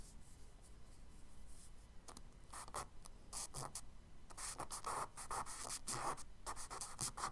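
A charcoal stick scratches tree branch lines onto the solid surface of a tan kraft paper page in a spiral sketchbook. After about two seconds of faint hiss, short, bright, dry scratchy strokes arrive in irregular bursts. They grow denser and louder in the second half.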